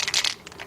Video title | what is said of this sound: ⭐ 1979 - 1993 Ford Mustang - FULL Floor Pan - PART 6 | Make sure you hear that little rattle inside on all spray cans